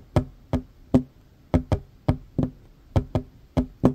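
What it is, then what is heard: Wooden table. Short fingernails and fingertips of both hands tap on a worn, large, solid wooden tabletop. Eleven quick, dry knocks fall in an uneven rhythm, some in close pairs, each a sharp click over a low, hollow thud with a faint tone near 250 Hz. Each knock dies away almost at once.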